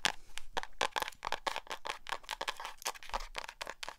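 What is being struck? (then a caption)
Hardcover notebook cover. Long acrylic nails rub and scratch the matte cover of a small black hardcover spiral notebook held up in the air. A rapid, uneven run of short, dry scratches and clicks sounds crisp and bright, with each stroke dying away almost instantly. Together they form a dense, crackly texture.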